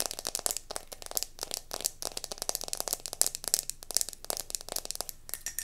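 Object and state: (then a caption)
Mercury glass candle jar. A round gold mercury glass candle jar is held in the hands and tilted while long nails tap quickly on its base and sides. Dense, rapid clicks ring bright and glassy with very short decay, mixed with light scratchy textures.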